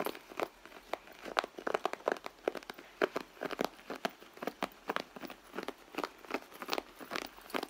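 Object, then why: Leather handbag. Long nails scratch the stitched leather panel of a hollow, soft red leather handbag, making a quick, uneven run of short, dry scratching and crinkling strokes. Each stroke is centered in the midrange with a light bright edge and almost no low end, and it stops dead with no ring.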